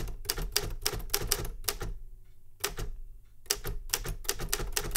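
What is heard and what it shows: Fingertips tap the keys of a Remington Super Riter metal manual typewriter, producing a quick run of sharp, bright clacks. Each strike has a low thump, and the bursts are broken by a short quiet pause in the middle before the typing resumes. The strikes die away almost instantly.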